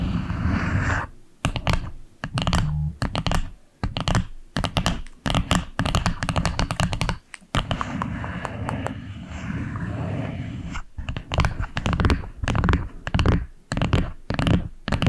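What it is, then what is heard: Wooden box. Long acrylic nails tap and scratch the wooden top of a small flat box with a dark wood lid and a light side band, held just above the microphone. Rapid clicky taps alternate with stretches of continuous scratching, and the sound is heavy in the low end, with a deep thump around 78 Hz and little high sparkle.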